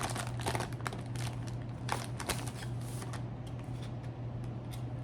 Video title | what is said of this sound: enjoy an MRE with me - ASMR, soft-spoken, tapping, rambling, crinkles | Very good for tapping, very firm.